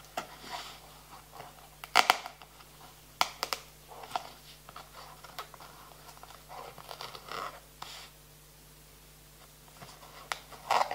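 Fingertips scratch and tap the surface and edges of a small clear plastic box full of playing cards. The result is quiet, dry scratching and crackling broken by sharp, bright clicks, with a faint steady low hum underneath. The loudest taps come near the start and again at the very end.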